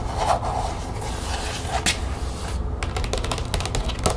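Long nails scratch and tap the spine and flat plastic panels of an opened green plastic expanding folder lying on a table. Soft, hissy scratching gives way to a quick run of crisp, bright taps over a low background rumble.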